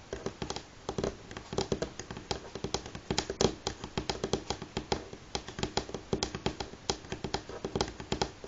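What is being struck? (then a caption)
Wooden tabletop. Fingernails tap on a wooden table at varying speeds, giving about fifty short, dry clicks over 8.6 seconds. The taps die away almost instantly and carry a faint woody tone around 375 Hz.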